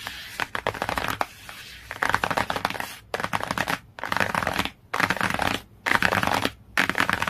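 Long fingernails tap quickly on the glossy cover of a cardboard hardcover book. Rapid, bright clicking taps come in dense bursts separated by brief pauses.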